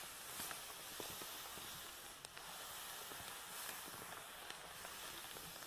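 A black nylon Hama carrying bag holding a tripod, lying on a table, is rubbed and scratched with the palms and fingertips. It produces a steady, bright, hissing scratch of fabric with small scattered ticks throughout.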